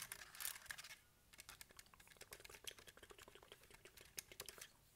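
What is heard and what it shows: A small, hollow, handheld plastic Casio scientific calculator with a hard plastic case and keys is held in one hand while fingertips and nails tap its buttons and case. After a brief scratchy burst, a quick run of sharp, bright plastic clicks and taps follows, each dying away almost instantly, all at a quiet level.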